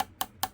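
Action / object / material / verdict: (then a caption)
tap / camera matte box body, aluminum / aluminum / none. Short, dry taps on the thin aluminum body of a SmallRig camera matte box, struck while checking its build quality. Each tap gives a brief, hollow, plastic-like click centered around 770 Hz that dies away almost at once. Despite the plastic-like sound, the body is metal.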